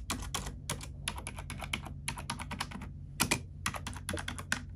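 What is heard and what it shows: Keys on a black plastic computer keyboard are pressed with an index fingertip and nail, tapping and typing. A quick, uneven run of short, bright clacks comes in clusters with brief pauses, each click dying away almost instantly. A steady low hum sits underneath throughout.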